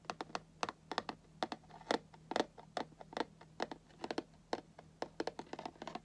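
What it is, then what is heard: Cardboard box tapped. Fingertips and nails tap on the cardboard top edge of a Funko Pop box with a plastic window, making a quick irregular run of about 26 soft, dry clicks. Each tap is short and papery with no ring, over a faint steady low hum.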